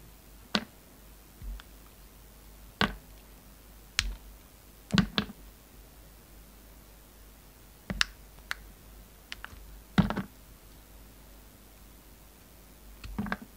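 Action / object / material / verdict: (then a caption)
scrape / bar of soap cut with a knife blade / soap / none. A utility knife blade carves and scrapes a solid, hand-sized pink and green flower-shaped bar of soap. Short, crisp clicks and scraping snaps come in irregular bursts, separated by quiet gaps. Each one is sharp and bright with a low thud beneath it and almost no ring.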